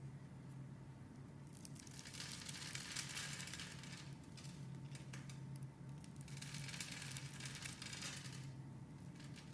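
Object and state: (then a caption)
Bar soap being carved. A solid, opaque, palm-sized, mint-green oval bar of soap is held in both hands. Its surface is scored into a grid with a metal blade, and then small cubes are shaved off. Bursts of bright, crisp scraping and crumbly crinkling come and go over a steady low hum.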